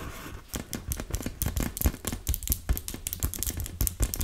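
Long red nails tap and scratch across a large, fully inflated, hollow blue and yellow PVC beach ball. A rapid, uneven series of short, dry clicks and scrapes with bright edges sits over a low, hollow thump from the ball's body, and each tap dies away almost at once.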